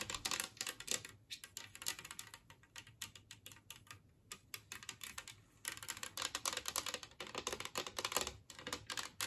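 Long nails tap rapidly across an empty, large, flat, green-glazed ceramic Christmas tree plate. The taps are dry, bright clicks with almost no ring, coming in dense flurries that thin out and quiet down in the middle before picking up again.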